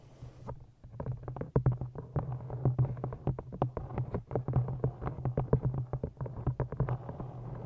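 An old green cloth-bound hardcover book, held in front of a microphone, is tapped rapidly with the long nails of both hands. The taps are short, dry clicks that fade quickly, layered over a steady low hum. A brief high hiss is heard before the tapping starts.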